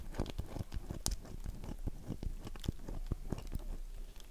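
Long nails scratch the face of a solid, dry oval bar of soap held in one hand, while the empty box sits untouched to the side. The scratching is a dense, low, crunchy rasp broken by short, sharp ticks.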